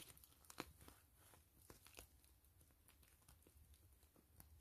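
Long fingernails scratch and tap the crinkly plastic surface of a soft, hollow, slightly filled gray and clear PVC pouch with grid mesh and a zipper. Quiet, dry crinkling and scratching run throughout, broken by sharp, bright taps, the loudest landing near the start.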